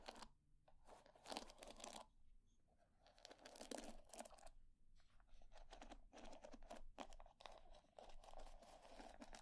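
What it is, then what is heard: Wooden hair brush. Long nails scratch and flick across the wooden pin bristles of a wooden hair brush held face up. Rapid, crackling bursts of dry, bright clicks come in uneven clusters with short pauses between them. The texture sounds like brittle tearing and crinkling with a mid-range woody body.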